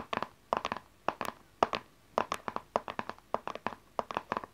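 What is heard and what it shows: Long nails tap and scratch the front and edges of a small, dark, printed cardboard tarot card deck box, which is closed. Quick clusters of light, dry clicks with a hollow midrange tone stop almost instantly, separated by short pauses.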